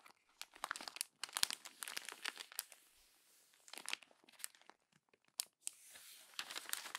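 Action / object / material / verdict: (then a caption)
scrape / glossy paper magazine pages / glossy paper / none. Fingers with long nails crumple and turn the glossy pages of a paper magazine. Bursts of bright, crisp crinkling and crunching come in clusters, separated by brief quiet gaps and a soft rustle, with no low end.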